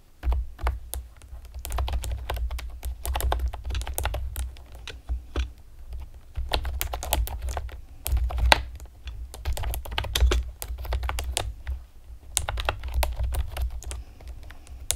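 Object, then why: Plastic computer keyboard with round keycaps. Long painted nails and fingertips rapidly tap a pastel plastic, typewriter-style computer keyboard with round retro keycaps and hollow keys. The result is a dense run of short, sharp clicks and clacks, some bright, over a steady low rumble. The typing comes in bursts with brief lulls between them.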